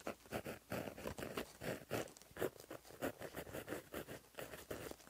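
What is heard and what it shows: A plastic-barrel gel pen with a metal tip, held in the fingers, writes across a flat black lined paper notebook page lying as a solid sheet on a surface, its tip scratching along the paper. Around fifteen quiet, dry scratchy strokes follow one another in quick succession, each a brief papery rasp centered in the low-mid range with little ring.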